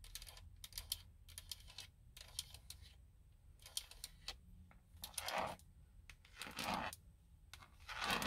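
Long blue nails tap and scratch the hollow, hard plastic airbag cover on a Nissan steering wheel's center hub. Clusters of quick, bright clicking taps are followed by three longer, hissing scratch strokes across the plastic, all at a quiet level.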